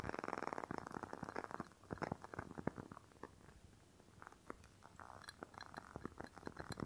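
A rectangular clear glass candle jar filled with red wax is held in one hand while long fingernails tap and scratch its glass sides. Quick, dry clicking taps come in rapid bursts, mixed with soft scraping. The sound stays quiet and close, with only faint bright ticks.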